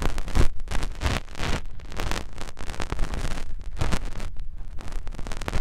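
A finger rubs inside the ear canal of the soft silicone ear on a white binaural microphone. The result is continuous close, muffled rubbing and scratching, heavy in low rumble, with rapid dense friction bursts throughout.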